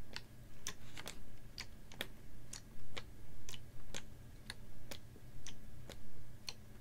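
A clear, ribbed PET water bottle, capped and about half full of water, is held horizontally and tapped with fingernails. Sharp, bright clicks come at a steady, uneven pace over a low, constant hum. Each tap dies away quickly.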